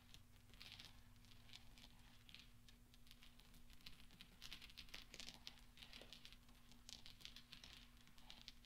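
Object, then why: Small steel balls on a soft cloth. Small solid steel pachinko balls rest on velvet as fingertips and nails push and gather them, knocking them together, with rings on the fingers also touching. The result is a quiet, steady patter of soft, bright metallic clicks and clinks over a low hum.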